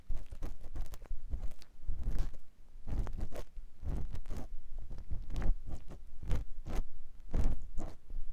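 A clear silicone ear pick scratches inside the ear canal of a white silicone ear mounted on a binaural microphone block. Close, low, muffled crunching and rubbing strokes come in quick uneven bursts, each dying away at once with no ring.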